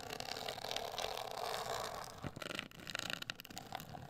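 Long acrylic nails scratch and tap a hollow, medium-sized, black printed rigid cardboard cosmetic box. A steady, bright, dry scratching fills the first two seconds, then gives way to a run of short, crisp taps and scrapes with almost no ring.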